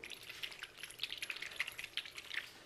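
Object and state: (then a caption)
Shaken foundation bottle, very liquid contents. A bottle of L'Oréal Eau de Teint, a water-based, very liquid and slightly two-phase foundation, is shaken before use. Quick, bright sloshing and dripping splashes sit mostly in the high frequencies. The sound shows how watery the contents are.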